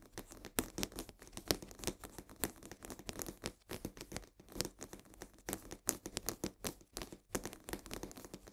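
Long nails scratch and tap quickly at the sides of a full cardboard box of coarse salt held upright. The result is a dense run of dry, crisp taps mixed with papery scratching and crinkling, bright in tone and dying away at once with no ring.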